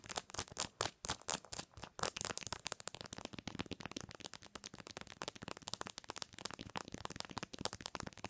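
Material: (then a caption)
Plastic. Long nails tap and scratch quickly on the back of a phone in a white plastic case with a pink cherry print and a metal ring holder, which lies face-down on a pillow. Loud, bright, dry clicks come first and are spaced apart. They then run into a quicker, softer, steady patter of taps and scratches with no ringing.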